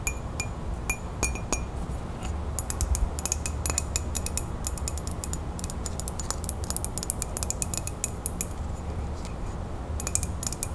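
Long nails tap rapidly on the outside of a hollow, printed ceramic coffee mug held close to the microphone. The result is a dense run of sharp, bright clicks and clinks over a steady low hum.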